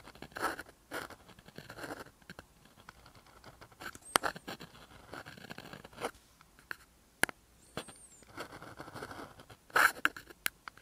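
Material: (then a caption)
Paper. A gel or paint pen scratches across a flat black paper sheet in continuous strokes, leaving pink lines. Soft, papery scratching comes in short bursts separated by quiet pauses, with a few sharp, bright ticks where the pen tip taps the sheet. There is almost no low end; the sound sits in a thin mid-range rasp.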